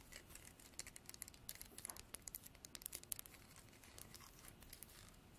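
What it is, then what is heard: Horn comb. Long nails strum the fine teeth of a translucent amber comb, probably horn, held in both hands. Quiet, rapid, crisp clicks and scratchy ticks run together in an uneven patter, bright and dry with almost no ring and little low end.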